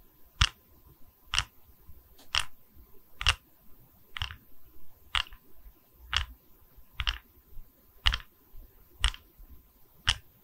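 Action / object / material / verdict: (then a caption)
tap / wooden tree slice coaster / wood / none. Long red acrylic nails tap and scratch the cut face of a round, solid wooden tree slice coaster showing growth rings, held in both hands close to the mic. Sharp, bright clicking taps land roughly once a second, with softer scratching rustles in between.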